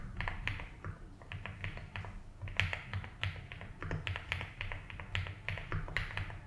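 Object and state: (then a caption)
Plastic mechanical keyboard. Fingertips slowly type on a 75% mechanical keyboard with ABS keycaps in a light blue plastic case. They make a steady stream of short, crisp clacks with bright, snappy tops. A constant low hum runs underneath.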